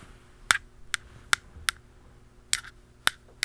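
A blue plastic pen taps the flat top of a hollow black plastic aerosol can cap seven times at an uneven pace. Each tap is a short, dry click that dies away almost instantly. The clicks are bright and hollow, centred around 1.4 kHz, over a faint low hum.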